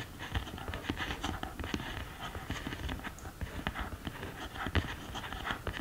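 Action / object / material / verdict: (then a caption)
tap / cardboard eyeshadow palette with pans / cardboard / none. Long green nails tap and scratch the pans and case edges of an open cardboard eyeshadow palette. Quick, soft clicks and dull taps come in a steady, irregular stream over a low, muffled rumble and faint scratchy rustle. Each tap dies away almost at once.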